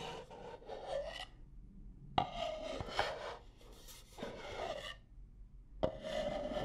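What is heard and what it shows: Long nails scratch and tap the outer wall of a stack of medium-sized, nested, striped wooden bowls that are hollow and empty. Bursts of dry, raspy scratching with a hollow, woody ring near 740 Hz alternate with short pauses, and three sharp taps stand out above the rubbing.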